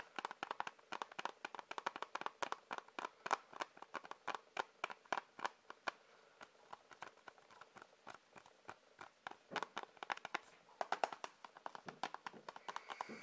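Fingers tap on a plastic Blu-ray case in an ASMR tapping session. Quick, dry, hollow clicks come in dense bursts, centered in the midrange with almost no low end and very short decay. The tapping eases to softer, sparser taps in the middle before picking up again.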